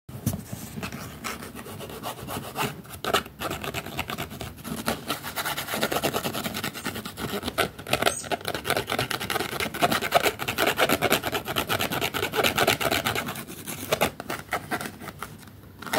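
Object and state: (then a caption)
Cloth-bound hardcover book. A thick old hardcover book with a green cloth cover and gold-lettered spine, held in one hand, has its cover and spine scratched and rubbed with a flat wooden stick. The result is a continuous, fast, dry rasping of dense overlapping strokes, bright and scratchy with little low end. It grows louder and busier through the middle before easing off near the end.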